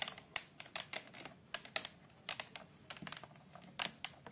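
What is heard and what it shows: Long pastel acrylic nails on both hands tap and scratch the glass front and patterned plastic or wood border of a large framed picture lying flat on a chair. A quiet, quick series of sharp, bright clicks, close to keyboard typing, with almost no low end and very little ring, mixed with faint scratching between the taps.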